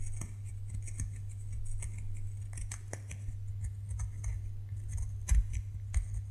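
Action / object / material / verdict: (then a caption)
scrape / bar of soap / soap / none. A solid white bar of soap is scraped and scratched with fingernails, leaving crumbs on the table. Dry, crisp scratching bursts with a bright, hissy edge repeat over a steady low hum, with a couple of louder scrapes near the end.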